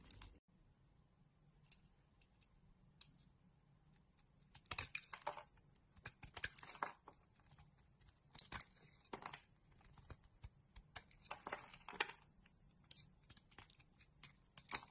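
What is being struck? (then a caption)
Bar of soap scraped with a metal blade. A solid, rectangular, palm-sized magenta Dexa bar soap is scraped and carved with a metal utility blade. Quiet, dry scraping strokes and crisp, bright cutting bursts come in irregular clusters over a faint low hum, with short clicky snaps where the blade bites and flakes come away.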